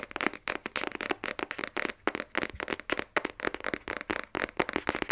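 A small, rigid, black printed cardboard iPhone 12 Pro box, closed and held in both hands, is tapped rapidly with long nails. The result is a quick series of crisp, dry, clicky taps with a bright, papery tone and no ringing between strikes.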